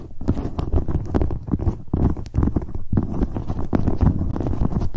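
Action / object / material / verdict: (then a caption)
tap / leather handbag / leather / none. Long nails tap and scratch rapidly across the front of a medium, hollow black leather handbag near its handle rings. The result is a dense, continuous patter of dull, low thuds with soft scratching between them, and no bright ring.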